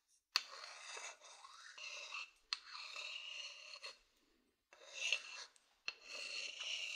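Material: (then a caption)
Wood. A thin wooden stick scratches across a medium hollow wooden bowl, making quiet, bright, rasping strokes. Each stroke starts with a sharp scrape and then trails into a continuous scratchy hiss. Brief pauses separate the strokes.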